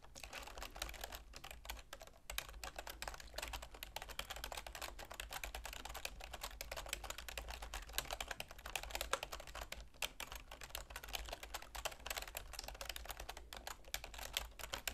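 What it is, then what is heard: Plastic computer keyboard. Long nails and fingertips type continuously on a full-size black plastic computer keyboard with a silver plastic frame. The result is a quiet, dense stream of short, bright plastic clicks and taps with no ring, over a steady low hum.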